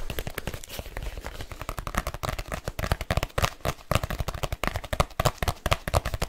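Fingertips tap fast across the outer surface of a large black leather case while it is flexed and curved in the hands. The result is a rapid, irregular stream of short, dull, low-heavy thuds that die away almost instantly, with only faint bright edges.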